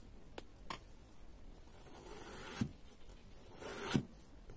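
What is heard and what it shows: A long serrated metal knife slices down through a solid, palm-sized block of pale yellow kinetic sand molded into a flower-shaped waffle and resting on a pink mat, cutting it into thin strips. Quiet, gritty rasping swells as the blade saws through the sand, with three distinct strokes, the last two ending in soft, low thumps as the knife reaches the mat.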